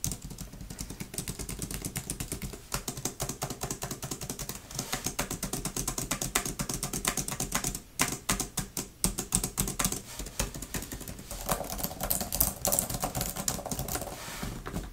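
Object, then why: Plastic laptop keyboard cover. Long nails tap and type quickly across the plastic keys of a grey type-cover laptop keyboard with a fabric deck, with some key clicks near the trackpad. It makes a dense, fast stream of sharp, bright plastic clicks over a steady low hum, with a brief lull near the middle before the clicking picks up again.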